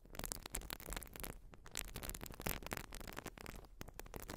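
Long nails scratch a white, porous urethane foam sponge. The result is a quiet, continuous, dense scratching and crackling rustle with brief brighter bursts throughout.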